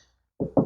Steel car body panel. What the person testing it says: There must be fuller, and I can actually hear that.